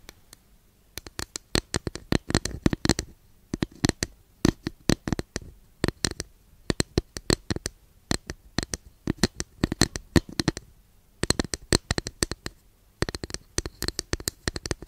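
Long nails scratch and tap a long, flat, thin, solid wooden incense holder held behind the mic. Dozens of quick, dry clicks and scrapes come in clustered bursts with short pauses between them. Each hit dies almost instantly, with a woody midrange body and bright edges.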